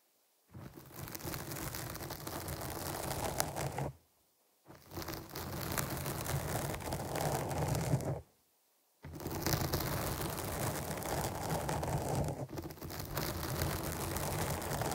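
Long nails scratch the top of a black foam windscreen on a microphone, producing dense, crackling rustle with a heavy low rumble. It comes in three sustained passages separated by two brief silences.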